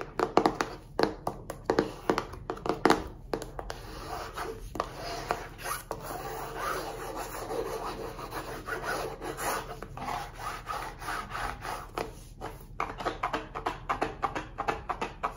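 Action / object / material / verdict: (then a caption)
scrape / small cardboard card box / cardboard / none. Fingertips and nails rub and scratch the surface of a small, hollow printed cardboard box of cards, orange and pink on the back with text, held up in both hands and tilted. Quick papery scratches and taps start and end the clip, with a steadier dry rubbing in the middle. The sound is soft and mid-toned with little low end.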